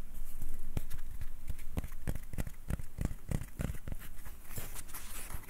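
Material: Wood.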